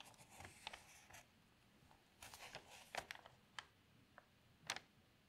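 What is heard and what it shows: Fingers with long nails lift the corner of a thin newsprint newspaper lying open and turn the page, crinkling the paper. Quiet, bright rustling runs through the clip, broken by short, sharp crackles and snaps as the page bends and settles.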